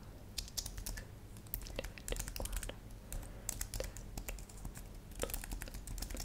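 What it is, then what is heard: Plastic computer keyboard. Long manicured nails and fingertips rapidly tap the plastic keys of a thin, solid white and silver computer keyboard lit purple. The result is a stream of sharp, bright clicks that stop quickly, over a steady low hum.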